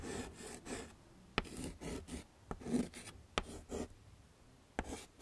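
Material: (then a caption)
Chalk. A yellow chalk stick is scraped across a small, flat black chalkboard in a wooden frame while shading flowers. Soft, raspy rubbing strokes come in short bursts, broken by several sharp taps as the chalk meets the board.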